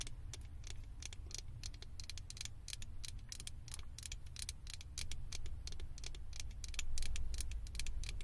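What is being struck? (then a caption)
Small plastic figure on a microphone. Long acrylic nails scratch and tap on the ears and head of a small hollow blue plastic Stitch figure fitted onto a microphone. A rapid, irregular patter of bright, crisp plastic clicks and scrapes plays over a steady low rumble, and the tapping grows slightly louder toward the end.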